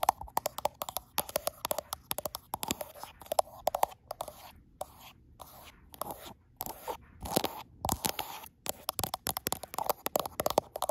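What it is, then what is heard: Glass-backed smartphone tapped with fingernails. Long nails rapidly tap and scrape the frosted glass back panel of a handheld gold iPhone, seen in a mirror, with the phone itself doing the recording. The result is a dense stream of sharp, dry clicks centered in the midrange near 750 Hz, with bright edges, no ring, and brief crunchy scrapes between bursts.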